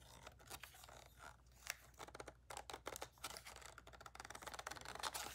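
Long nails rapidly tap the body, grip and lens of a black DSLR camera with a plastic body and lens, held in the hands. The result is a quick, uneven run of short, dry, bright clicks with almost no ring, over a faint low hum.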